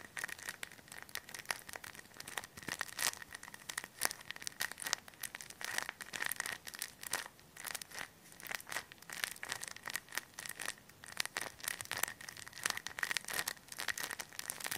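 A hand-sized clear thin plastic bag full of white polyester stuffing is squeezed and crinkled between both hands with the fingertips. It makes dense, continuous crackling and rustling with many sharp, bright snaps. A steady tone sits near 1.8 kHz, and there is almost no low end.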